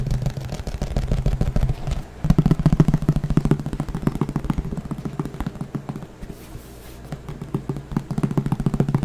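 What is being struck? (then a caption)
Thin plastic flying disc. A thin green plastic frisbee, hollow underneath, is tapped rapidly with the fingertips right beside the microphone, giving a dense run of dull, hollow, low-pitched taps with little brightness. The tapping pauses briefly around two seconds, softens for a stretch near the six-second mark, then builds back up at the end.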